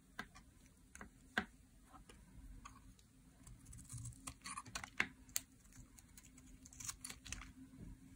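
A metal utility blade scrapes shavings off the edge of a dry, solid teal soap bar held in the hand. Short, crisp scraping clicks with a bright edge come at an irregular pace, some sharper than others, over a quiet low background hum.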